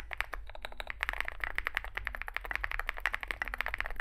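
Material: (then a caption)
Plastic. Fingertips of both hands type continuously on a small 65% Zoom65 mechanical keyboard with a dark case, white and dark grey SA-profile plastic keycaps, and lubed Epsilon switches. A rapid, steady stream of short, crisp clacks centers around 2 kHz, with each keystroke dying away almost instantly over a faint low hum.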